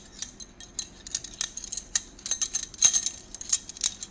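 A bundle of hollow gold stainless-steel drinking straws is held in both hands, rolled and shaken together. The straws give off bright, high, metallic clinks and jingles that die away almost at once. The clinks come as many quick, irregular taps that sometimes cluster.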